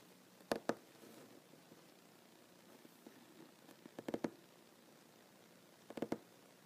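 Fingertips and short nails of one ringed hand tap on a solid wooden tabletop. Eight short, dry taps come in three quick groups: two, then three, then three, with near-silence between them. Each tap has a soft mid-pitched knock and dies away almost at once.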